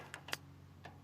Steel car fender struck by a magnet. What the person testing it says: you can just hear when the magnet hits the metal that there's no filler in the car there